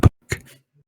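A paper book is tapped by hand, giving two soft, dull thumps centred low around 110 Hz. Each dies away almost at once, and the second is followed by a faint low trailing rustle.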